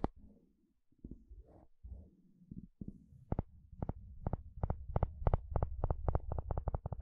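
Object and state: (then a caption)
Plastic wide-tooth comb strummed. A wooden spatula strums and scratches across the long, wide teeth of a blue plastic comb. Soft, low, scratchy rustles come first, then give way to a quickening run of short, sharp plastic clicks with bright tops over a low, dull body.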